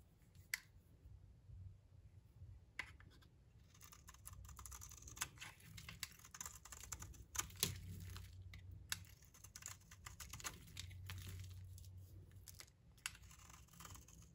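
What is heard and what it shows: A blade shaves curls from a solid, rounded, pink-striped bar of dry soap held in the hand. It makes dry, crisp scraping and rasping strokes with sharp, bright clicks over a steady low hum. The strokes come in bursts across the clip, with a few louder snaps standing out.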